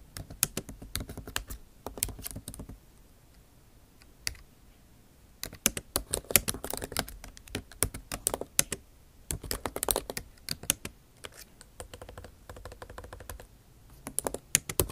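Long acrylic nail tips type on the bare plastic keys of a MacBook Pro backlit keyboard set in an aluminum body. Bright, sharp clicking taps come in rapid bursts, broken by a near-silent pause around 3 to 5 seconds with a single tap. Quieter gaps follow before the typing resumes.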